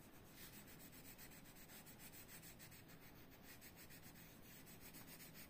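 A red colored pencil is rubbed back and forth across a thin paper coloring book page lying flat on a desk, shading Donald Duck's foot while yellow-nailed fingers hold the page steady. The result is a continuous, soft, scratchy rubbing made of quick, repeated strokes with a bright hiss, over a faint low hum.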